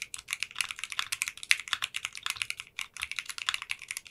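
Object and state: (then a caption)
Mechanical keyboard with polycarbonate keycaps. Fingertips with short nails type rapidly on a 60% custom mechanical keyboard with translucent pink polycarbonate keycaps in a clear case. A fast, steady stream of crisp, bright clacks comes through with almost no low end and very short decay, broken only by a brief pause near 2.8 seconds.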